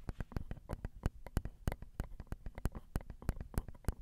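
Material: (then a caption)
Metal mesh. Long acrylic nails tap on the small, hollow metal mesh grilles of a Zoom recorder's XY microphone capsules. A quick, uneven run of about 28 short, dry clicks follows, each with a thumpy low body and almost no ring. The taps vary in strength over the four seconds.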